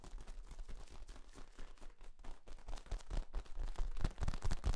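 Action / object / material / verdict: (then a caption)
scrape / flexible corrugated plastic tube / plastic / none. Fingertips squeeze and pop the ribs of a long, hollow, bent yellow corrugated plastic tube, a flexible ribbed tube. The result is a rapid, uneven stream of short, dull, low-pitched pops and clicks with almost no ring. The popping grows louder and more forceful toward the end.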